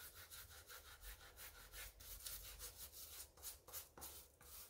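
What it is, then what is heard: Rubber sneaker sole being scrubbed. A gloved hand holds a light pink sneaker while a wooden-handled brush scrubs its wet white rubber/foam sole and edge above soapy water. Rapid, bright scratchy bristle strokes repeat in an uneven back-and-forth rhythm with a soft low rumble underneath.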